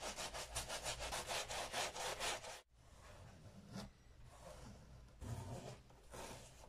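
A wooden-backed bristle brush scrubs a brown Sperry Top-Sider leather boat shoe (empty, white sole) with saddle soap foam as it rests on a black towel, making fast, rhythmic, bright bristly scrubbing strokes. The scrubbing cuts off abruptly, and a microfiber cloth in a gloved hand wipes the leather with quieter, softer rubbing that swells in a few brief surges.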